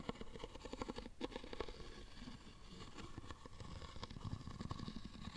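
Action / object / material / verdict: scrape / small birch-bark box tapped and scraped with a wooden stick / birch bark / none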